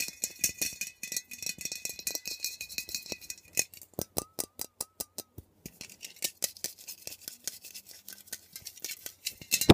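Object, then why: Metal aerosol can. Long nails rapidly tap and scratch the sides of a metal aerosol air freshener can, held upright and then turned. A dense, bright scratching texture gives way to a run of sharp, separate metallic taps with a faint ringing tone, then returns to fast mixed tapping and scratching.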